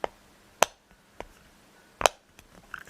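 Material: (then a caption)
Metal. Broken fingernails tap a metallic peg solitaire game box four times, each a short, sharp, bright click with almost no ring, followed by a few faint softer taps. The broken nails make the tapping softer, but it is still judged quite a nice sound.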